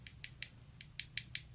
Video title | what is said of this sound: How to Prepare Nails for Acrylic Application (Step By Step) Acrylic Nails Tutorial For Beginners! | you can hear that i'm just tapping it around making sure it's dry